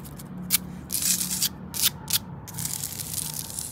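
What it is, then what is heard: Porous concrete paving stone. Long acrylic nails scratch and rub across the rough surface of a flat, grey, pitted porous concrete paving stone lying solid on the ground. Bright, hissy scraping comes in short sharp bursts and longer strokes, then settles into a steadier rasping rub toward the end.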